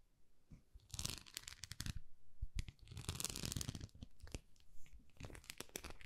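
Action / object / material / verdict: scrape / small plastic rice paddle / plastic / none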